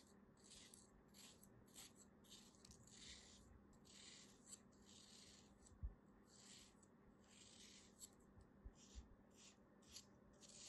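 A solid beige kinetic sand crab shape, held in the palm, has its edge shaved and scraped with a small black knife. Repeated soft, grainy scraping strokes give bright, hissy bursts over a low background hum, with a few sharper clicks now and then.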